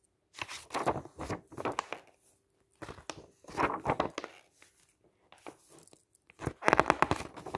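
Fingertips wearing a ring lift, flip and smooth down the thick glossy pages of a camping guide lying open on a table. Crisp, crinkly rustles and soft tearing-like swishes come in bursts separated by short quiet pauses, with a faint steady hum underneath. The final page turn is the loudest and brightest.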